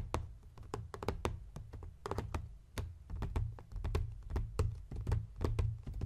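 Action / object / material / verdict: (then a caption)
tap / leather-covered journal / leather / none. Fingertips and nails tap and scratch across the leather front cover of a closed blue embossed leather journal with a Viking ship design. Quick, dull, low thumps come with short, bright clicky ticks that die away almost at once. A soft scratching rustle runs between the taps.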